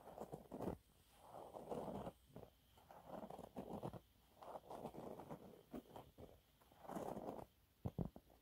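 A thin, flat, yellow textured cellulose sponge cloth, held in both hands, is scratched and gripped with fingernails. Quiet bursts of dry, dull scratching and crinkling rustle come in rhythmic spells separated by short pauses, with a few sharper ticks near the end. The sound stays muffled and soft throughout.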